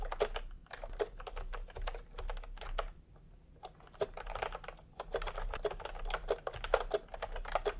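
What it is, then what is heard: Plastic retro keyboard being typed on. Fingertips tap in quick runs on a full-size keyboard with a peach plastic case and round typewriter-style plastic keycaps. The result is a stream of short, sharp, bright plastic clicks with a slight mid-pitched tone, pausing briefly around the three-second mark. A faint low hum sits underneath.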